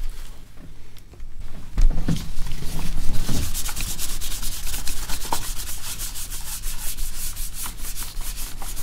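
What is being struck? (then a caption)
Plastic laptop lid rubbed with a cloth. A cloth held in the hand rubs and wipes the glossy plastic lid and keyboard surface of an open laptop held upright. Soft, steady rubbing and swishing strokes repeat throughout, with bright, airy friction over a low, muffled rumble. A few heavier passes near the start stand out louder than the rest.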